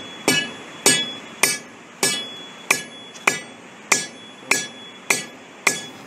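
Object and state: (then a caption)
Delaminated concrete deck. A hammer strikes a sand-covered section of a concrete deck ten times at a steady pace, each blow a sharp, bright tap with a brief high ring that dies away quickly. The concrete is delaminated, and the sand spread over the questionable area jumps each time the section is struck.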